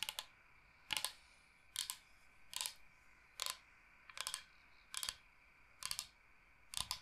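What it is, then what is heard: Bamboo cutting board. A large, flat, solid bamboo cutting board shaped like Michigan is tapped with long painted nails while being moved toward the camera. Nine short bursts of quick, dry, bright clicks repeat at a steady pace, with almost no low end and no ringing. The taps stop dead between bursts over a faint background hiss.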